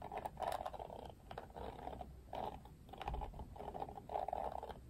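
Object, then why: Plastic hairbrush bristles. Fingertips and nails strum across the pink-tipped thin plastic bristles of an oval plastic detangling paddle hairbrush with a black cushion, held up in one hand. The result is a run of soft, dry, ticking rasps in repeated bursts, centred in the mid-range with faint bright clicks on top.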